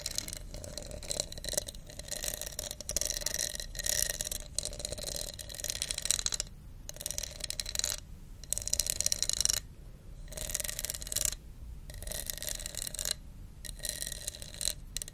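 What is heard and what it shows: A hollow, empty translucent red plastic cup with a wavy embossed texture is held in the hand near a fluffy microphone while long nails scratch along its ridges. Dense bursts of bright, crackly ratcheting scrapes are broken by short silent gaps, with steady high tones running through the bursts.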